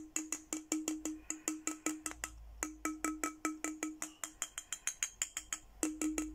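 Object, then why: Glass bottle. A clear, empty, hollow glass milk-style bottle about 20 cm tall with a printed Hello Kitty design is held in one hand and tapped with a thin red plastic stick. About 32 quick, light taps each give a short glassy ring with a pitch near 310 Hz and bright high overtones, and the rhythm briefly pauses twice.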